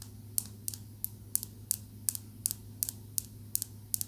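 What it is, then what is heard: Green calcite tumbled stone. A small, smooth, solid green calcite tumbled stone is tapped with long nails in a steady series of short, sharp clicks. Each tap is bright and dies away almost instantly, over a quiet, constant low hum.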